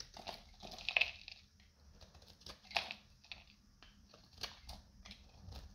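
A metal utility knife blade shaves a solid, hand-sized, dried green soap bar with a gold-coated side into brittle flakes. Irregular, crisp crunching and scraping strokes are heard, mostly bright and high with little low end. Each stroke cuts off quickly, and a few stand out louder than the rest.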